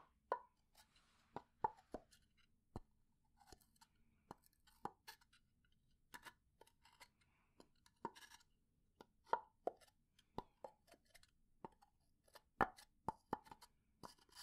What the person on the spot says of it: 0:54 - Pine box (slow scratching, tapping, wood-on-wood lid sounds)